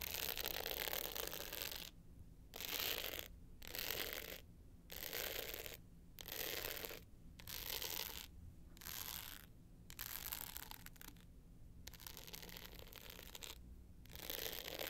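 Long nails scratch the navy glitter top of a small rectangular hard-shell clutch with a gold metal frame, lying flat. Bursts of bright, gritty scratching alternate with short quiet gaps, over a steady low hum.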